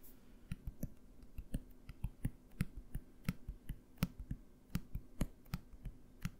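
A small opaque dark-blue plastic bottle with a cap is held in the hands and tapped with the fingernails. About seventeen quick, dry taps come in an uneven rhythm, each a short hollow low knock with a faint bright click on top. Every tap dies away almost instantly.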